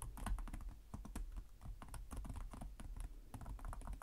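Both hands type rapidly with their fingertips on the plastic chiclet keys of a black laptop with a hollow chassis. The result is a steady, fast patter of short, dry clicks, each with a dull low thump and almost no ring.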